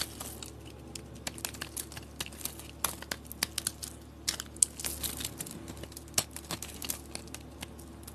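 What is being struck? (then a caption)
Bar of soap scraped with a metal blade. A rectangular solid orange soap bar with green edges, held in hand, is carved and scraped with a metal blade, and curls fall off. Many short, bright, crisp crunching and scraping strokes crackle irregularly over a low, steady background hum.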